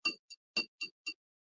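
Five light taps on a Royal Dux porcelain figure, about 5 in tall and 8 in long, each giving a short, bright ring centered near 2.7 kHz that fades quickly instead of thudding. The piece has a deep craze line on the inside but no crack, as the clear ring shows.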